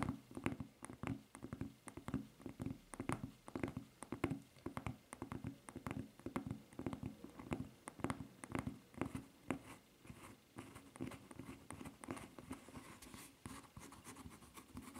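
Long nails scratch and tap the smooth footbed of a white rubber flip-flop with a red strap. The result is a dense run of short, dry scrapes and soft ticks over a low rubbery hum near 270 Hz. The sounds are quick and close together, with almost no ring.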